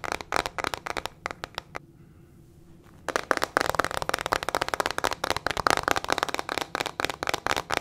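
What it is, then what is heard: Plastic hairbrush with metal pins. Long fingernails rapidly tap and scratch a small teal plastic hairbrush with metal pin bristles and a hollow plastic body. Quick, dry, sharp clicks come in bursts, stop for about a second of near-silence, then return as a dense, fast patter of bright taps and scratches with almost no ring.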